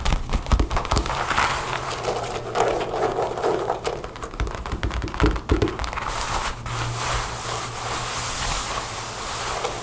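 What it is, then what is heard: Faux leather jacket. Long nails tap and scratch the front of a dark faux leather jacket with snap pockets and a center zipper, lying flat on a table. Quick, dry taps and scratches rise and fall in bursts over a steady low hum.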